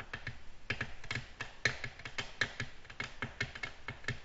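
Long natural nails tap a flat, solid, glossy black glass tabletop in a quick, uneven run of light taps. Each tap gives a sharp, bright click with a faint glassy ping near 1.8 kHz and a soft low knock, dying away almost at once. The taps vary in strength, with a few louder ones standing out.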